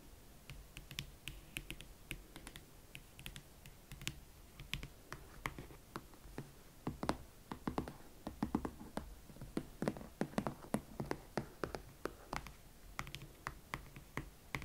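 A single hot pink leather Valentino Club platform ankle boot is held up and tapped and scratched with long nails along its side and platform. A steady run of quick, dry, close-up taps and clicks sounds over soft scratching and a low background hum. Each tap dies away almost at once.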